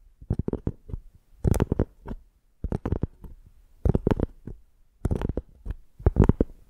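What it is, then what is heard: Tree bark piece. Long painted nails lightly scratch a flat rectangular piece of tree bark with a ridged tan surface, held in both hands. Short, dry scratching bursts come in spaced clusters, their sound mostly low and soft with brief bright edges. Each stroke dies away almost at once.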